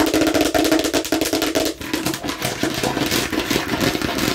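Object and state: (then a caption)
Hollow plastic container tapped. A hollow hard plastic watermelon-slice container with a red spout cap, held near the face, is tapped rapidly with long nails and fingertips. The result is a fast, uneven stream of crisp clicking taps with a hollow, mid-pitched plastic resonance and bright nail clicks on top.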